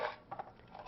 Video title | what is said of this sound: How To Dehydrate Food At Home | berries should be dried until they rattle when shaken